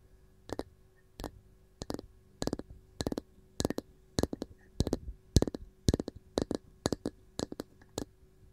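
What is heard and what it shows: Long gold nails tap a round varnished wooden canister lid with a ball knob. The result is quiet, dry, clicky taps in quick irregular bursts, each with a bright edge and a low thud, that die away at once with no ring.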